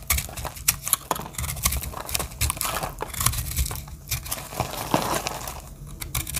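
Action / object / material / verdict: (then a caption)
scrape / heart-shaped bar of soap scraped with a small metal blade / soap / none. A solid heart-shaped dry soap with pink and purple terrazzo-style chips is held in the hand while its edge is scraped and cut with a small metal blade, crumbling into flakes. Dense, dry crackling and scraping crunches sound over a low rumble, with bright crisp peaks as pieces break away.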